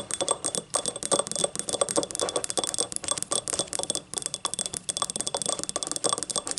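Long nails on both hands scratch and rub the ribbed outer wall of a small, hollow, empty yellow ribbed ceramic cup standing upright. The result is a dense, fast stream of short, bright, scratchy clicks and rasps with a faint ceramic ring. It stays fairly even throughout, with almost no low end.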